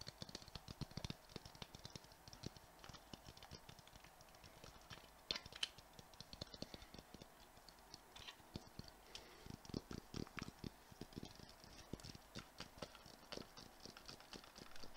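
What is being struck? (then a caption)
Hollow glass ball ornament with metal cap. A clear, hollow glass Christmas ball ornament with a metal cap, glitter filling and a white tag is held up and tapped quickly with the fingernails. The result is a quiet, dense stream of rapid, dry clicks and ticks with a bright, glassy edge. Each tap dies away almost instantly, with little ringing.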